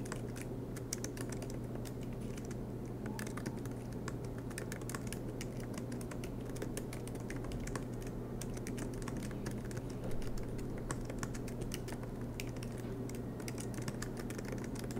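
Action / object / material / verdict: tap / laptop keyboard, plastic keys on aluminum body / plastic / none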